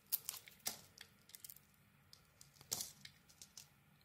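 A utility knife blade shaves and scrapes thin curls off a hand-sized solid bar of Isana soap, black glittery coating over white inside, held in the palm. A quiet series of crisp, bright scraping and crackling bursts is heard, with a few sharper cuts standing out. Each one stops dry with almost no ring.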